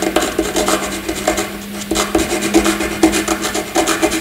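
A graphite pencil scribbles loops and squiggles across a flat sheet of white paper, scratching out a run of quick, dry, raspy strokes. The strokes rise and fall in short bursts with bright, airy edges over a faint steady low hum.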